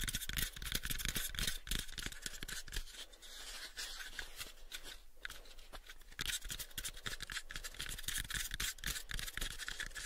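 Fingernails scratch and tap on the faces of a pale, unfinished, hollow wooden cube box. Rapid, irregular clicks and dry, bright scratching ride over low, hollow thumps, easing into a softer scratching stretch midway before the brisk tapping returns.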